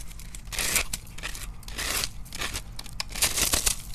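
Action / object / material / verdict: scrape / dry starch soap block scraped with a metal knife / starch soap / none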